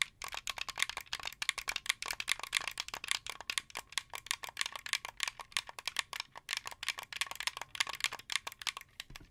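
Fingertips and nails rapidly tap the buttons and the top of the shell of a hollow, translucent blue plastic wired Xbox 360 controller held in one hand. The result is a dense, uneven stream of dry, bright plastic clicks and taps with almost no low end and no ring after each hit.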